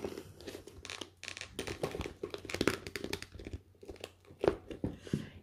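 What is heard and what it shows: Long pink manicured nails and fingertips scratch, rub and tap the surface of a medium-sized, clear vinyl/PVC zippered makeup pouch with black trim, holding a few makeup sponges. The result is a dense run of dry, crinkly plastic scratches and soft taps with short bursts and almost no ring, sitting mostly in the low-mid range with a little bright hiss.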